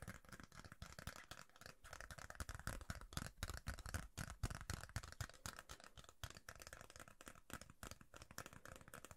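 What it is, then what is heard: Plastic card tapped and scratched with fingernails. Fingernails tap and scratch a thin, rigid yellow plastic referee card held in the hands. The result is a quiet, rapid, irregular stream of short clicks and scratchy rasps, each dying away almost instantly. The sound combines soft low thumps with a brighter, dry crackle on top.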